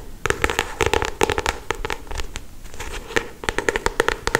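Long acrylic stiletto nails rapidly tap and scratch the glossy paper cover of a solid paperback novel, close up. Quick, dry clicks and crackly scrapes come in irregular bursts, with a brief softer stretch in the middle before the tapping picks up again.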